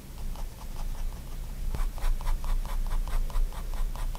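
A fine-tip pigment liner pen makes short strokes on a spiral-bound white paper sketchbook lying flat on a wooden desk. The strokes come as a quick series of soft, dry scratches, with a steady low rumble underneath.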